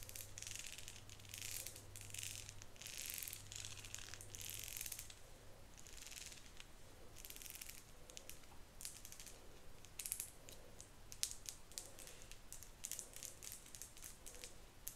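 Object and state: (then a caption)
Plastic wide-tooth comb. Long acrylic nails scratch and flick across the teeth of a hand-sized, solid, cream marbled plastic wide-tooth comb held in the other hand. The result is quick, bright, rattling scratches in uneven bursts over a faint low hum.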